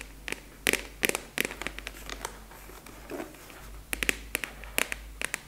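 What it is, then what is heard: Plastic expanding file folder. A large translucent purple plastic expanding file folder with a black clasp, hollow and apparently empty, is tapped and scratched with long acrylic nails. Sharp, bright clicks stand out in quick bursts, with soft scratching in between.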